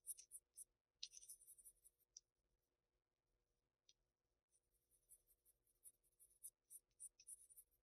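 A wooden graphite pencil is rubbed and scratched across a flat sheet of Bristol paper bearing a graphite drawing, in shading strokes. Quiet, bright, scratchy bursts come in quick runs, pause for about two seconds with only a lone scratch, then resume more densely over a faint steady low hum.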